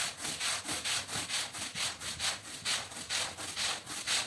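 A long-handled stiff-bristle push brush scrubs a very dirty, wet, patterned woven rug lying flat on a wet tiled floor. Repeated back-and-forth strokes make bright, hissy rubbing and scratching sounds in a steady rhythm, about two strokes per second.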